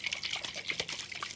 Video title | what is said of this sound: How to make Cassava Pone Guyanese Style🇬🇾 | if you hear the water inside shaking like that and it's heavy you know it's a good one